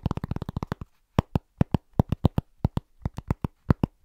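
Fingertips of both hands tap quickly on a large, round, flat, solid cork trivet held against the chest. They make dull, low, soft knocks with almost no ring. A fast, dense burst of taps gives way after a short pause to a looser, uneven rhythm.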